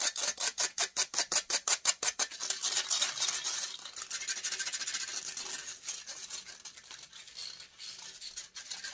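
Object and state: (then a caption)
Metal microphone mesh grille being scratched. Long acrylic nails scratch fast and aggressively across the hollow metal wire-mesh grille of a silver USB microphone. For the first two seconds, distinct rhythmic strokes produce sharp, bright, hissy scrapes. These then blur into a dense, continuous high-pitched scratching with almost no low end.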